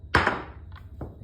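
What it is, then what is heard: Wooden pool cue dropped on table, sounds woody. A wooden pool cue is dropped against a table to compare its sound with a handmade flax and carbon fiber cue. It lands with a sharp, hollow knock, a quick bounce, a brief ringing tail, and a fainter tap about a second later. The wooden cue's sound is judged hard.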